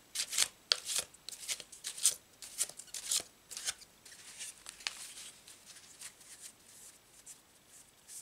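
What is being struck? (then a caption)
Deck of thin paper cards. A deck of thin paper tarot cards with a blue checked back is shuffled by hand, fingertips flicking and squaring the stack. Crisp, bright papery snaps come in an uneven run over the first half, then give way to quieter, steady rustling and light taps as the cards settle.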